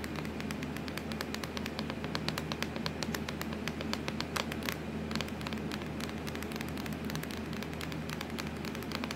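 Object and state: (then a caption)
Plastic laptop lid tapped with nails. Long acrylic nails tap and scratch rapidly across a hollow, black textured plastic laptop lid. The result is a dense stream of crisp, bright clicks with scratchy rustling between them, over a steady low hum and hiss.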